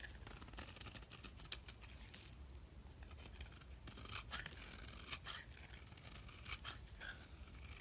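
A metal blade scrapes ribbons of soap off the surface of a solid oval purple soap bar held in the hand. The clip is a run of quiet, dry, crackly scraping strokes with bright, hissy edges, set over a steady low hum.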